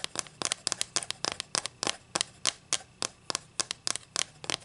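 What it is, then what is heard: Wooden ruler tapped with fingernails. Long nails scratch and tap the face and edge of a solid wooden ruler held in the hands, producing quick, irregular bright clicks and short scratchy bursts with almost no low end. The sharp, dry ticks die away instantly, coming in rapid uneven clusters throughout the clip.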